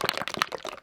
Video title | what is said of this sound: HOW MUCH SUNSCREEN FOR YOUR FACE? | this one is a very liquid one, so there is a ball inside it as well